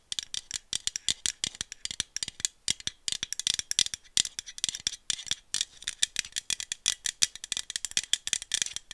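A small aluminum iced-coffee bottle with a screw cap is tapped with long nails and shaken close to the mic. The result is a dense, rapid rattle of sharp, bright clicks with almost no low end, each one dying away instantly. The clicks come in quick bursts.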